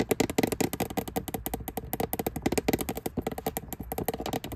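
Long nails tap rapidly on the lid of an empty, hollow, transparent plastic lidded storage box sitting on a shelf. About 31 quick, dry clicks sound in a continuous run with a light hollow knock and no ring.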